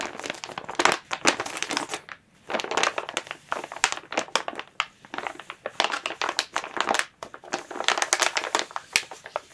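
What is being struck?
Thin plastic bag.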